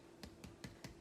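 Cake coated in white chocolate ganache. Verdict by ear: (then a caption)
Firm. A cake coated in white chocolate ganache, just out of the fridge, is tapped four times on its coating. Each tap is a short, soft, dull knock with a quick decay and no hollow ring, showing the coating has set firm but not fully hard or malleable.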